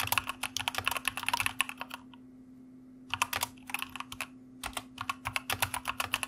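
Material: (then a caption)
Plastic. A white mechanical computer keyboard with plastic keycaps is typed on with the fingertips of both hands, giving quick runs of bright, sharp plastic clicks. The typing comes in bursts, with a pause of about a second after the first run and a shorter one near the middle, over a faint steady low hum.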